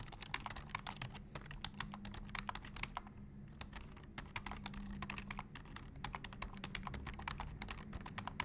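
Fingertips of both hands type rapidly on a black plastic full-size computer keyboard, seen close up. Dense, crisp, bright key clicks stop briefly around the middle before resuming, over a low steady hum.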